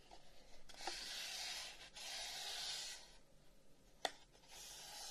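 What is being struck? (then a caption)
Wooden incense box. Fingers rub and tap a long, hollow wooden incense box with carved flower-pattern holes while it is held in both hands and turned. Two long stretches of soft, bright, hissing friction are followed by quieter handling, then a sharp, dry tap. More rubbing leads into a final, louder tap.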